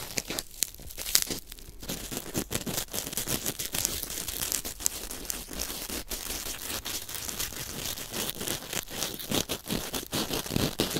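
A small white biodegradable corn starch foam packing peanut, solid lightweight foam, is held close to the microphone and squeezed, crunched and torn with the fingertips. It makes a dense run of bright, dry crackles and crunches with a tearing texture. Each snap dies away almost instantly, with sharper pops standing out through the 11 seconds.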